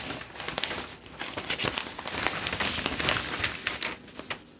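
A large, thin Globe and Mail newsprint newspaper is held up in both hands while fingertips flip and crinkle the pages, shaking the sheets. The result is a steady stream of bright, crackling paper rustles with sharp, quickly fading crinkle bursts and little low end.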